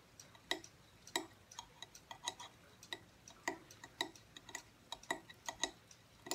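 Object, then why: Aluminum tablet stand. Fingertips and short nails tap the thin angled back plate of a small silver aluminum tablet/phone stand with a solid base, standing upright on a wooden table. The result is a quick, irregular run of bright, dry metallic ticks with a ping around 3.8 kHz and almost no ring, separated by quiet gaps.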